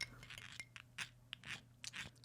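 A torched crème brûlée's caramel crust is tapped several times, giving short, sharp, bright clicks with a brief ringing tone over a faint low hum. The crust rings, showing a crisp, hard, well-set caramel layer.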